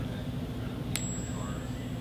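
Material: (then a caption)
Base metal. A counterfeit Morgan dollar made of non-silver metal, rested on a bone, is tapped once with an object in a ring test. It gives a single brief, high, thin ping that fades within about 0.7 seconds over a low background hum. The shallow ring lacks the deep, sustaining resonance of real silver, marking the coin as fake.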